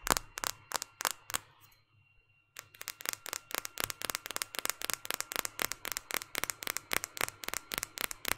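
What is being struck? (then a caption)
Smartphone with glass screen and plastic frame. A small white smartphone with a glass screen and plastic frame is held in one hand and tapped on the screen and back with long painted fingernails. About 35 sharp, bright clicks are heard, with a few at the start, a brief pause, then a quick, steady run of taps.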